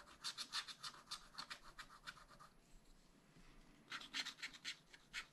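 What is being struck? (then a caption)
Wax-coated scratch-art paper scratched with a wooden stylus. A wooden stylus scratches a black wax-coated scratch-art sheet in a spiral-bound pad, producing quick, bright, raspy strokes. A run of scratches is followed by a brief quiet pause, then another burst of strokes. The sound is thin and high with almost no low end.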